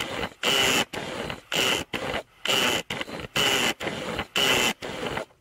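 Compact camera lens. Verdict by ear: Faulty.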